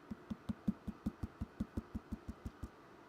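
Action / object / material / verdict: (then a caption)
tap / leather-hard clay bowl bottom / clay / thin. A clay bowl being trimmed on a potter's wheel is tapped on its bottom to judge wall thickness, producing a quick, steady series of about fifteen short, dull knocks with a low hollow tone near 200 Hz and almost no ring. The bottom sounds a little thinner than the top.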